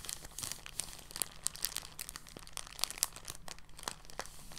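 An empty, thin clear polyethylene bag is lifted from the table and crumpled and squeezed in both hands. A continuous run of soft, bright crinkles and crackles comes through at a quiet level, with short sharp snaps standing out now and then. Each crackle dies away almost instantly.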